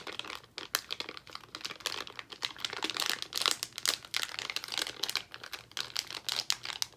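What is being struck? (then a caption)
Plastic foil candy bag. A small, full white-and-pink Albanese plastic foil gummy candy bag is crinkled and squeezed with the fingertips of both hands. The result is a dense, continuous run of sharp, bright crackles and crinkles with no low-end weight.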